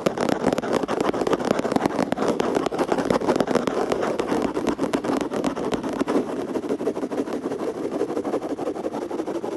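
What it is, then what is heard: Plastic surface (tapped and scratched). Continuous fast tapping, scratching and rubbing on a plastic surface: a dense stream of sharp, dry clicks over a steady rustling texture. The energy sits mainly in the low-mid range around 500 Hz, with a gentle fade toward the end.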